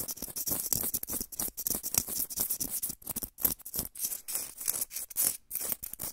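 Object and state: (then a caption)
Foam blocks being scratched and squeezed. Two small, solid, soft white foam blocks, one held in each hand close to the microphone, are squeezed and scratched with fingertips and nails. The result is a dense run of bright, crackling, scratchy bursts with very little low end, rising and falling in quick waves with brief silent gaps.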